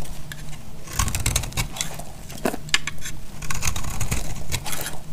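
A utility knife blade scrapes and cuts a dry, solid purple striped soap bar held in the hand, shaving it into flakes. Irregular bursts of bright, crisp scraping and crackling come and go over a low, steady rumble.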